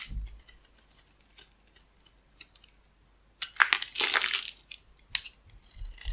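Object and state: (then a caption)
Bar soap being scraped with a blade. A small metal blade shaves and scrapes slivers off a solid, hand-sized oval bar of pink soap held in the hand, with the flakes falling onto a white table. Short, dry, bright scrapes tick out at first, then build into a louder, crackly stretch of continuous shaving before breaking back into quick scrapes.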